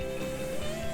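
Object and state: Nothing is struck.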